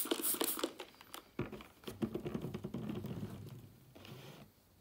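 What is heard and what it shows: A closed thin laptop with a flat, hollow white aluminium lid, lying on a wooden table, is rubbed and wiped by hand with a yellow microfiber cloth. Soft, irregular scratchy swishes and light pattering taps come in quick uneven bursts, loudest at the start with a few sharper knocks. The rubbing then thins out and fades to near quiet.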